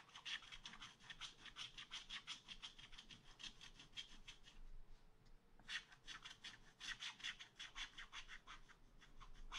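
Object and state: Wax-coated scratch art paper being scratched.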